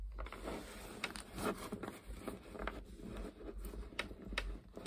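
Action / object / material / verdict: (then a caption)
scrape / deck of coated paper playing cards / coated paper / none. Long painted nails scratch and tap along the edges of a full deck of coated paper Uno playing cards, a small solid stack held in the hands. Soft, dry scraping and rustling runs throughout, broken by sharp, brief clicks that stop almost at once. A faint low rumble sits underneath at a quiet overall level.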